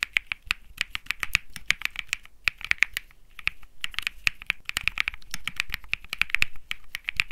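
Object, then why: Mechanical keyboard with aluminum case, PC plate and plastic keycaps. Fingertips type steadily on a compact Think 6.5 mechanical keyboard with Bsun Lollipop switches, an aluminum case, a PC plate and plastic keycaps. Each keystroke is a short, crisp clack centered near 2 kHz with a bright top and a little low thump underneath. The keystrokes stop almost instantly and come in a quick, uneven stream.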